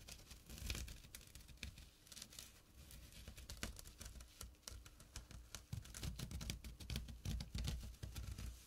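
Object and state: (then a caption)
Burlap pouch scratched. Fingertips and short nails scratch the weave of a small, flat burlap drawstring pouch. The result is a dense, irregular run of dry, bright, crackly rasps over a low, soft thumping rumble. The scratching grows louder and fuller in the second half of the clip.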